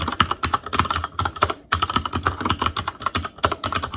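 Fingertip typing with both hands on a black plastic Asus Claymore Core mechanical keyboard with Cherry MX Red switches. It produces a fast, steady stream of short, dry keystrokes with a clacky tone around 1.3 kHz and a soft low thump beneath, and brief pauses near 1.7 and 3.4 seconds.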